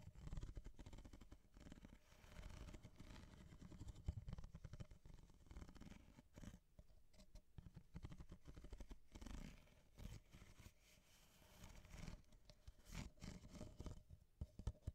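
An empty corrugated ripple-wall kraft paper coffee cup with a white rim, hollow, is held and turned in the hands while long painted nails tap and scratch along its ribbed wall and base. The sound is a quiet, dense run of soft, dull taps and rough scratching, mostly low and muffled, with short bursts of brighter crackle and no ringing.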